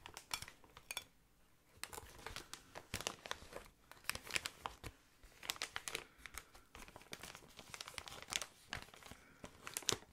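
Fingertips rub and scratch inflated clear plastic air column packaging, producing bright, dry crinkling and crackling in irregular bursts. Quick sharp snaps cluster together between brief quieter gaps, with little low end and almost no ring after each sound.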